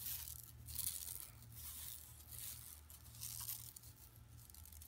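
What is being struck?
Woven plastic mesh bag.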